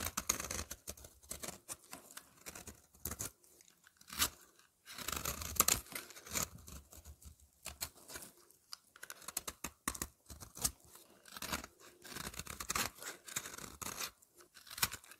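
A utility knife blade scrapes a solid lavender soap bar held in the hand, and flakes fall away. Dry, bright, crunchy scraping comes in quick irregular bursts of strokes with short pauses between them. Each scrape stops dead with almost no ring.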